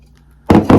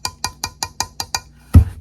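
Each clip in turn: First: Two quick taps on a ceramic mug, each a short bright knock that dies fast. Second: Seven quick, dry clicks with almost no ring, then a heavier thud: a thin plastic cup, not ceramic.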